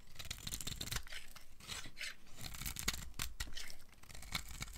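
A metal blade carves curls off the end of a red-and-pink striped solid dry soap bar held in hand, making dry, crisp scraping and shaving sounds. Short bright scrapes repeat steadily over a low rumble, each cut ending quickly.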